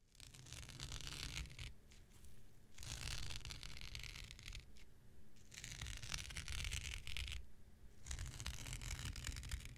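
The tip of a metal X-Acto knife scratches across the fibrous surface of a thin, blue, non-woven synthetic fiber scouring pad, which is hand-sized, flexible and held in one hand. Repeated strokes of bright, dry, rasping scratching alternate with quieter stretches over a steady low rumble.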